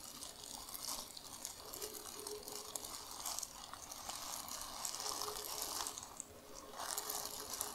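Long nails and fingers crumple, scrunch and scratch a large, empty, soft white plastic bag with a recycling code printed on it. The result is a steady, dense, bright crinkling and rustling with quick, sharp crackles and almost no low end, swelling and easing over the clip.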